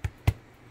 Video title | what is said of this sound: Pains Maisons de A à Z | il est bien cuit vous l'entendez quand ça sonne creux